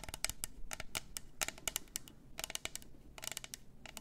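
Long acrylic nails tap and scratch a hollow, double-walled clear plastic tumbler with pink glitter, a lid and a straw, held in both hands. The result is a quick, uneven run of sharp, bright clicks and brief scratchy swipes that stop almost instantly, over a faint low hum.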